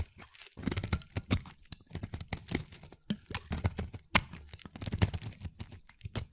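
A solid, palm-sized gray-blue bar of soap is held in the hand and shaved with a utility-knife blade. Quick, irregular strokes of crisp scraping and crunching follow one another, each with a dull low thud and a bright crackly edge. The shaving sounds stop short with almost no ring.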